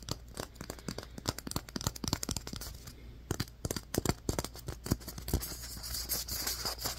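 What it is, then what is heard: Styrofoam ball. Fingernails scratch and tap a solid, light, fist-sized white polystyrene foam ball. Quick dry clicks and squeaky, crinkly scratches follow one another in an irregular run over a faint steady low hum. Toward the end the scratching turns into a brighter, hissier rub.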